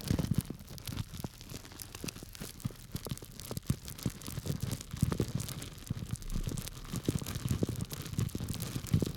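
A small clear plastic bag full of small dry grains is held by its tied top in one hand while the fingers of the other hand scratch and rub it. The result is a dense stream of quick, crinkly scratching and rustling bursts, with a soft, low, muffled body from the grains shifting inside.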